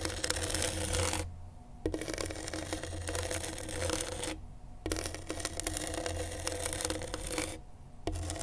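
A pen tip held in a gloved hand scratches across gritty black grip tape on a flat skateboard deck. Dense, rasping scratches come in long runs broken by brief pauses, with a steady low hum underneath.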